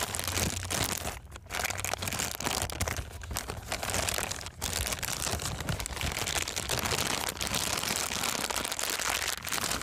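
An empty, thin, clear transparent plastic bag is stretched open and crumpled by hand. The result is continuous bright crinkling and crackling with dense, sharp rustles over a faint low hum, with brief dips near 1.3 and 4.5 seconds.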